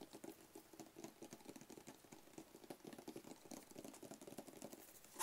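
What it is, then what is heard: Cardboard gift box tapped and scratched. A small, hollow black rigid cardboard gift box with a lid is held in the hands and tapped and scratched along its edges with fingernails. The result is a quiet, rapid patter of dry, hollow taps with a papery low-mid body and a bright scratchy hiss, each tap dying away almost instantly.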